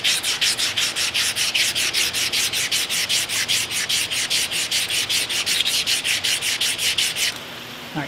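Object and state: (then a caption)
Rusty cast iron mill ram being sanded. An open hand with abrasive paper sands back and forth along the large, rusty cast iron/steel overhead ram of a K&T milling machine, whose overhead ram is stuck. It makes a fast, steady run of bright, hissy scraping strokes, about two to three per second. The strokes stop near the end, leaving only a faint hiss.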